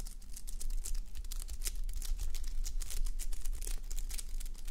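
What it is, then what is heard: Sequin fabric sleep mask being scratched. Long nails scratch across a flip-sequin sleep mask, plastic sequins on fabric, worn on a mannequin head. The sound is a dense run of quick, bright crinkly scrapes and clicks over a steady low rumble.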